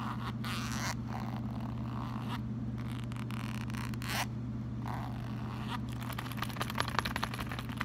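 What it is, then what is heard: Leather wallet. A small brown leather wallet with a zip compartment is held in both hands while fingers work the zipper, then rub and scratch the leather surface. Soft zipping and scraping sweeps give way to crisp, crackly scratches with sharp little clicks toward the end, all over a steady low hum.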